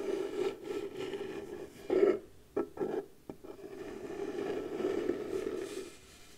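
Long blue nails slowly scratch the surface of a round piece of pale wood, likely the lid of a round light wooden box, held against the chest. A soft, steady midrange rasp runs throughout, broken around the middle by a few brief, louder scraping bursts, then it settles back into quiet scratching and fades out.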